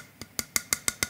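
A new 1-litre Frank Green insulated drink bottle, stainless steel outside with a ceramic inner and triple-layer insulation, is tapped six times. Each tap gives a short, bright metallic tick with a ring near 2 kHz.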